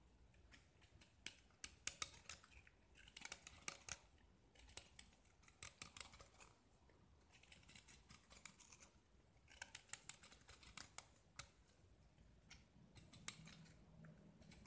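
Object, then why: Painted gypsum plaster disc scraped with a metal blade. A small, solid gypsum plaster disc painted red is held in the hand and scraped with a metal utility knife blade, sending white shavings falling off. Quiet bursts of dry, bright, crisp scraping come in short strokes with sharp clicks and ticks, separated by brief near-silent pauses.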